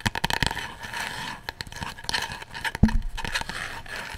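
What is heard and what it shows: Fingernails scratch and rub a hand-sized, coffin-shaped box of light unfinished wood with a printed design, likely hollow, held up close. The sound is dry, crackly scraping in quick bursts with bright edges, plus a short low knock near the end.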